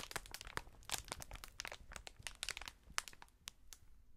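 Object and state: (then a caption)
Plastic air cushion packaging. A sheet of clear, hollow, inflated plastic air-cushion packaging is bunched up, squeezed, and then spread out by gloved hands. It makes a dense run of sharp, bright crinkles and crackles with a little low rustle underneath. The crackles get sparser and quieter toward the end.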